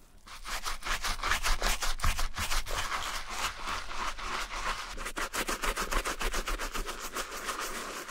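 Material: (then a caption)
Suede. A wooden bristle brush scrubs a grey suede and mesh Adidas Marathon running shoe, its heel and side areas covered in foam, in wet brushing strokes. The result is a steady run of rhythmic, somewhat uneven wet scrubbing with a bright, bristly hiss over a low rumble. The strokes come at roughly two and a half per second.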